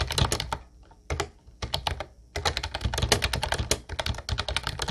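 Fingertips type continuously on a mint-blue plastic Ubotie retro typewriter-style keyboard with round white keycaps. Quick, bright plastic clacks with a low thumpy body come in dense runs, broken by two short pauses near the start before steady typing resumes.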